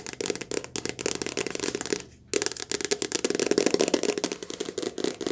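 Fingertips tap quickly on the soft cover of a paperback book in a cottage during rain, recorded lo-fi with background noise. A dense stream of dry, bright, clicky taps with a low-mid body runs throughout, broken by a short pause of about a quarter second just after the two-second mark before the rapid tapping resumes.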